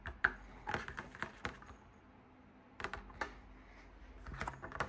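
Fingers tap and scratch from above and outside on the large hollow fabric drum shade of a lit floor lamp. Quick, dry, papery taps with a midrange tone come in bursts, separated by a quiet pause, and a soft scratching rustle runs between them. Each tap dies away almost instantly.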